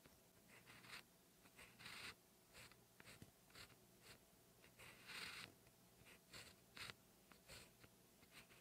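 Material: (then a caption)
Paper. A black ballpoint pen held in the fingers writes Korean characters on a lined cream notebook page lying flat on a solid backing. The pen tip makes short, bright, scratchy strokes in quick bursts with brief pauses, over a quiet, steady background.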